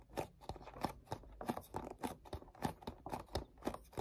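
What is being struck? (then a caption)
Cardboard gift box. Fingertips scratch and grip the back side of a black cardboard perfume gift box. A quick series of dry, scratchy rubs and crinkly grips repeats steadily, each one short with almost no ring. The sound sits mostly in the midrange with a little low thump.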